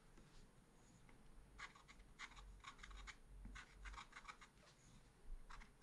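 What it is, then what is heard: Scratch art paper card. A wooden stylus scratches a small black-coated scratch art sheet in quick strokes, making a series of short, dry rasping scrapes that sit mostly in the mid-to-high range. The strokes come in irregular clusters over a soft low background rumble, and each one stops almost at once with no ring.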